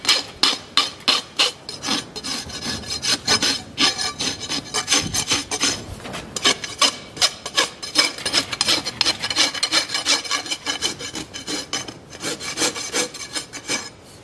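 A farrier files the wall of a shod horse hoof, solid keratin horn, resting on a hoof stand, working a steel rasp held in both hands in repeated strokes. Each stroke gives a dry, bright scraping rasp with almost no low end, coming quickly in a loose, uneven rhythm of dozens of strokes.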